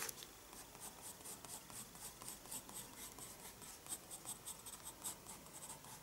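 A graphite pencil draws slow strokes on the page of a small spiral-bound paper sketchbook resting on a wooden desk. The sound is a quiet, light scratching with a bright, hissy texture and a few soft accents as the strokes land.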